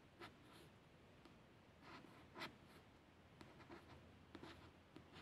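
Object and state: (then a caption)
Paperback book cover traced with a nail. A long nail traces the cottage picture on the glossy card cover of a solid paperback book. The result is quiet, dry scratching strokes with soft bright hiss, each stroke rising briefly above a low background, the strongest near the middle of the clip.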